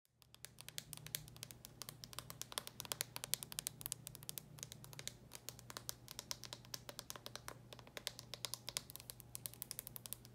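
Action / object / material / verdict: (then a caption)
tap / hard plastic handheld game console / plastic / none. A small red and silver Nintendo DS Lite style handheld game console with a hard plastic shell, closed, is tapped and scratched with long painted nails. Rapid, dense, bright plastic clicks and scratchy rustles continue throughout over a steady low hum. Each tap is short and dry, with no ring.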